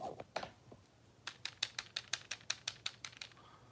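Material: Plastic.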